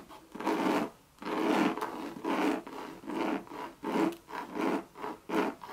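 Long red nails rub and scratch across a Louis Vuitton monogram coated-canvas bucket bag and its leather rim. About eight dry, rasping strokes in a loose rhythm, each a rough scratchy burst with a mid-range body and a faint bright edge, separated by short quiet gaps.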